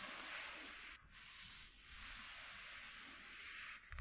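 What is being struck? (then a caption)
Corrugated cardboard sheet. Fingertips with short nails rub and scratch a flat white piece of corrugated cardboard lying on a dark cloth. The result is a steady, bright, papery scratching hiss with brief dips in between strokes, ending in a quicker burst of scraping.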